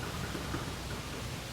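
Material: Nothing is struck.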